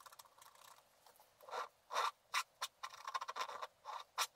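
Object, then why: Black wax-coated scratch art paper scratched with a wooden stylus. A wooden stylus scratches a flat sheet of black wax-coated scratch art paper along the ornament and stocking areas of the design. Short, dry scraping strokes and quick ticking scratches come in separate bursts, centered in the midrange with a bright hiss and no low end.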